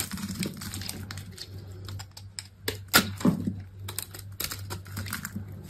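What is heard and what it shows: A utility knife blade scrapes and cuts dry, brittle flakes from the edges of a solid, hand-sized, olive-green bar of dry soap held in the hand. Quick, irregular crisp scrapes and clicky cuts run throughout over a steady low hum, with a couple of sharper, louder cracks in the middle as flakes break away.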